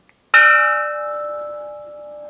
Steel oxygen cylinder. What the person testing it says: rings like a bell that's an oxygen cylinder the only thing in that is oxygen